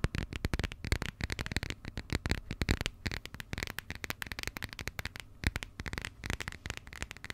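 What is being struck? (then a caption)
Passport with coated cardboard cover. Long nails rapidly tap and scratch the textured, coated cardboard cover of a burgundy passport. The result is a dense stream of short, dry clicks and scratchy rustles with soft low thumps underneath, each tap dying away almost instantly with bright crackly edges.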